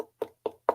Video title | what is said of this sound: Card Maker Success Summit Feb 2023 - Lucy Foxworth | it sounds like wood it's just cardboard